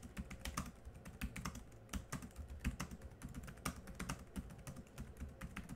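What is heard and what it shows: Both hands type quickly with their fingertips on a laptop keyboard with black plastic keys. A rapid, uneven stream of short clicks and taps follows, each with a dull low thud under a brief bright tick that dies away almost at once.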